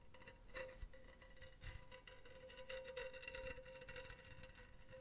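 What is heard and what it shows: Long teal nails tap and scratch the side of a hollow, empty silver wire-mesh metal pen holder held upright in a hand. Quick light metallic taps and a scratchy rasp play over a steady ringing tone near 530 Hz, with fainter overtones around 1 kHz and 2 kHz. The sound stays quiet and busy throughout, with brief brighter ticks.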